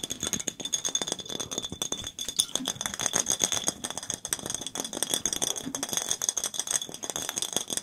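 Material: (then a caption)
Glass. A clear glass soda bottle with a red label, mostly empty, is tapped rapidly with fingertips and nails. It gives a dense, continuous stream of bright, glassy clinks with a steady high ring and almost no low end.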